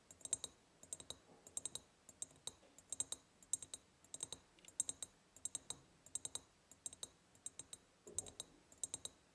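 Long painted nails tap quickly on an empty, ribbed, clear glass jar. The result is quick bursts of quiet, sharp, bright clicks with almost no ring, and a short scratchy rustle near the end.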